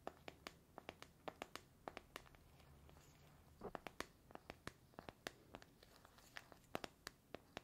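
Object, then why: Small metal tea tin with a paper label. A small cylindrical metal tea tin with a gold lid and a paper label is held in one hand while fingernails scratch and tap its paper-labelled metal side. Dozens of short, sharp, bright clicks and taps, mixed with brief scratchy rustles, come in an irregular rhythm over a quiet background, each dying away almost instantly.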